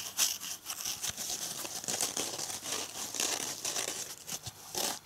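A red foam dish sponge with a green scouring side is held in both hands while fingers and nails scratch and rub its abrasive surface. The sound is a dense, dry, crinkly scratching, bright and high with almost no low end, in quick overlapping strokes that swell and fade without ringing on.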